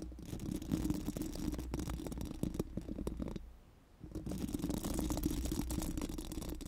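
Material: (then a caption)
Steel mesh. Four pink silicone spoolie brushes are rubbed over a bare, hollow steel mesh microphone grille. They make a dense, scratchy rustling with a low, boomy body and quick ticking strokes. The sound briefly fades to near silence just before the fourth second, then the rubbing resumes.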